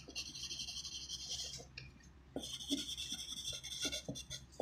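A graphite pencil tip writes on a thin white handwritten sheet of paper resting on a wooden desk, making a bright, scratchy rasp. Bursts of high hiss from the lead dragging across the paper are broken by a brief near-quiet pause in the middle, and short soft taps are scattered throughout.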